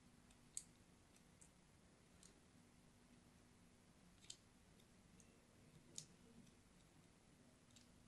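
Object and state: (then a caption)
Soap bar scraped with a blade. A thin metal blade scratches diagonal lines into the surface of a purple and white striped solid soap bar held in hand. Quiet, short, bright scraping clicks arrive at irregular intervals, with three standing out louder than the rest, over a faint steady low hum. Each click dies away almost instantly.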